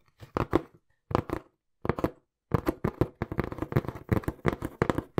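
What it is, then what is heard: Cardboard box being tapped. Fingertips tap quickly and forcefully on a small, hollow brown cardboard box held close to the mic. The result is rapid bursts of dull, hollow thuds with a low-heavy tone and no ring, separated by short pauses before a continuous run at the end.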